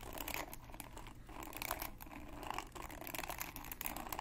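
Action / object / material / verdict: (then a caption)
scrape / plastic paddle hairbrush / plastic / none. A red, hand-sized plastic paddle hairbrush with a black cushion pad and many plastic pin bristles is held in one hand while fingertips and nails scratch and flick across the bristles. This produces a steady, dense stream of crinkly, crackling scratches and bright ticking flicks over a low rumbling bed, with short bursts rising and falling throughout.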